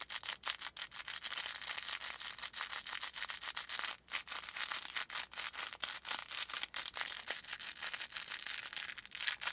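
Fingertips squeeze and scratch a small stuffed brown-and-orange felt volcano plush with a faux fur top and crinkly filling. The result is a steady stream of quick, dry, bright scratching and crinkling bursts with brief pauses and no low end.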